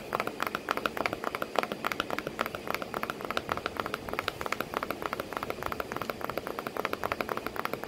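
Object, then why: Corrugated cardboard box. Long painted acrylic nails rapidly tap and scratch the flat top flap of a corrugated brown cardboard box with brown packing paper behind it and a cat sitting inside. The result is a steady stream of short, dry, crisp clicks and scrapes with no ringing.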